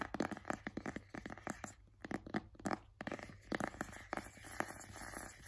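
A white cardboard AirPods box, held in both hands, is tapped and scratched with fingertips and nails. Quick, dry, hollow taps mix with scratchy, crinkling rustles. The sound stays quiet and close, with short pauses between bursts.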